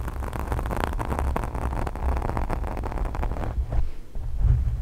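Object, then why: Foam microphone windscreen. Both hands with long pink nails scratch and rub a black foam microphone windscreen. The result is a dense, muffled rumble of low thuds and scraping, dominated by bass, with brief brighter scratchy bursts throughout.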